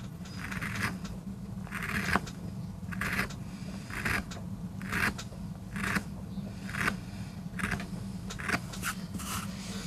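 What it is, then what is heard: MDF carving block being scraped. A steel gouge with a wooden handle cuts and scrapes into a small, flat, solid MDF board inked with a rose, lying on a rubber mat and held by fingertips. Short, bright scraping strokes repeat about once a second over a steady low hum near 200 Hz.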